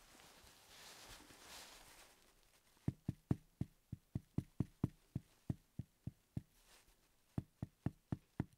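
After about three seconds of soft, low hiss, the tip of a wooden pencil taps and knocks about twenty times on top of a small, solid wooden letter block (X) resting on a table. Each tap is a short, dry, low-pitched knock with almost no ring. The knocks come in a steady run, pause for about a second, then finish with a few more taps.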